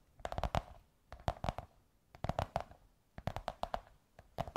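Long white nails tap and scratch quickly across a large, hollow beige kraft cardboard tube or curved sheet, giving soft, dry clicks with a hollow resonant tone. The taps come in five short clusters with quiet pauses between them, and each tap dies away almost at once.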